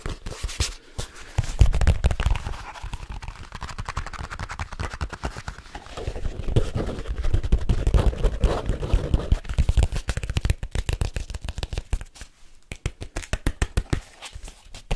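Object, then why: Leather folio case. Fingertips tap and rub fast on a large black leather folio case, held flat and then upright. Dense, irregular, dull low thumps run at close to four per second, mixed with soft scratchy rubbing. The tapping is loudest in the middle stretch and thins to lighter, sparser taps toward the end.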